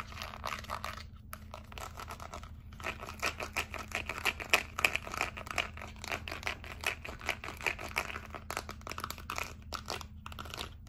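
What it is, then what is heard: Plastic remote control. A small, flat white plastic LED remote control with colorful rubber buttons is held in both hands while long acrylic nails tap and scratch across its buttons. The result is a dense, continuous run of quick, dry clicks and crinkly scratching, mostly bright, over a faint steady low hum, with brief pauses between bursts.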